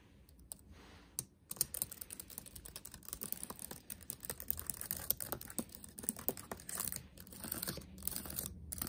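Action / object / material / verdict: tap / laptop keyboard with plastic keys / plastic / none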